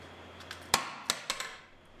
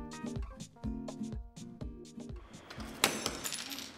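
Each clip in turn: First: tempered glass intact after ball drop. Second: ordinary glass pane shattered by a dropped ball.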